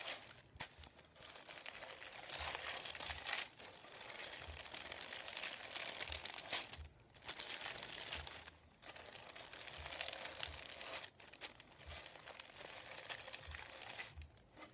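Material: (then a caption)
Paper. Fingertips with long nails tap and crinkle a thin sheet of printed white paper resting on a wooden table. Bright, dense crinkling comes in long stretches broken by brief pauses, with faint soft taps underneath.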